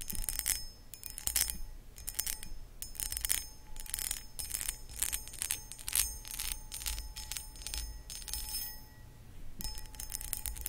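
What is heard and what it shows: Long acrylic nails scratch the textured sides of a hollow, empty, medium cut crystal glass pedestal bowl. Rapid bright, rasping bursts come with a high glassy ring, over a steady low hum. The strokes come in uneven flurries with short pauses between them.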